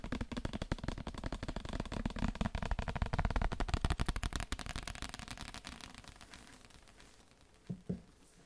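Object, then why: Paper book. A paper book is tapped in a rapid, uneven flurry of dry, short, low-heavy taps that gradually fade over about seven seconds. Two more distinct taps follow just before the end.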